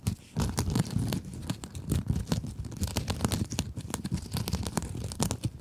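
A small pink scrub sponge with a sparkly glitter mesh cover is scratched with long acrylic nails. Quick, dense scratchy rasps and crinkles overlap continuously, with a heavy low rumble beneath bright, sharp streaks.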